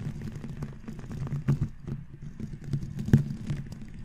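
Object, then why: Foam microphone windscreen and bristle brush. A round natural-bristle brush with a red handle sweeps across the black foam windscreen of a microphone. The result is a low, muffled, scratchy rustle with irregular strokes, and louder scrapes stand out near the middle and toward the end.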